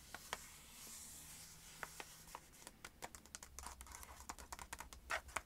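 A small, hollow, empty-looking pink cardboard box from a body scrub and cream set is held in the hand and tapped and scratched with long acrylic nails. It gives a quiet, irregular run of sharp, dry clicks and short scratchy rasps with a bright, papery edge and almost no low end. Each tap dies away almost instantly.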